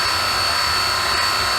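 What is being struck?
Nothing is struck.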